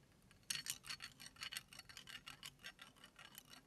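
Fingers crack, crush and rub a large, thin, hollow, empty brown chicken eggshell that is already broken open and rests in a blue-striped ceramic bowl, with some sound possibly coming from the shell touching the bowl. After a brief quiet start, a quick, irregular run of dry, bright crackles and ticks follows, with almost no low end. The crisp snaps fade quickly but keep coming steadily until the end.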